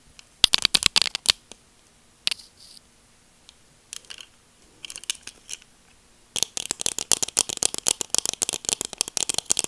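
Long nails scratch along the temple arm of a pair of black plastic sunglasses and tap the frame, making bright, dry clicks and brief scratches with almost no low end. Scattered taps and soft scrapes in the first half give way to a fast, dense run of crisp taps toward the end.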